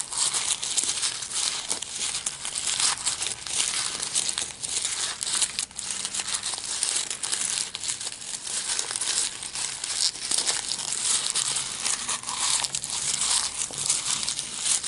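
A sheet of thin, light, white printed office paper is squeezed into a small, hollow-ish ball and crumpled and rubbed between both hands with the fingertips and palms, with no tool. It makes a steady, dense, bright crinkling and crackling that runs without a break for the whole clip, with almost no low end.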